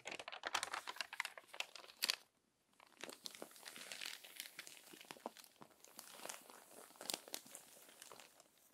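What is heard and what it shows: Long nails and fingertips smooth and scratch lightly across crumpled paper magazine pages, with a page turn. Dense, bright crinkling and crackling come in quick bursts, with a brief near-silent pause around two seconds before softer rustling and scratching resume.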